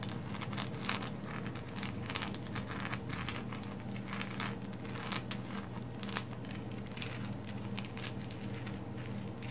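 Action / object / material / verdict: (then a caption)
scrape / lump of coal / coal / none. Long pink acrylic nails scratch and tap the rough surface of a fist-sized, solid black lump of coal resting on a woven placemat, then lifted. Bright, crackly scrapes and quick ticks come in an irregular stream over a steady low hum.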